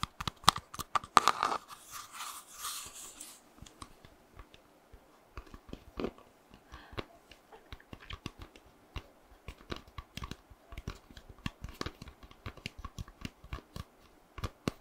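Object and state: Baked cookie tapped and scratched.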